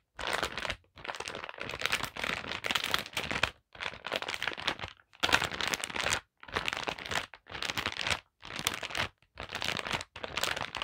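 Long black nails tap and scratch the front of a holographic plastic zip pouch lying flat, with a printed card and metal hoops inside. Bright, crisp crinkling and scratching come in repeated bursts separated by short silences.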